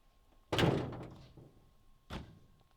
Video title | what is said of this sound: Jaguar XJ6 and Mercedes W210 Mashup OM606 Power! | if the engine hits the hood the sound will be not as Hollow